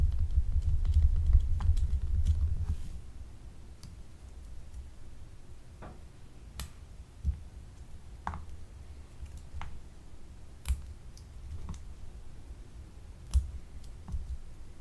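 A small, solid, blue gemstone-shaped glycerin soap bar with a frosted, scraped surface is held up and scratched and tapped with long acrylic nails. A dense, low scratching rustle fills the first few seconds, then fades into a quiet stretch broken by scattered sharp, bright clicks and taps that die away almost instantly.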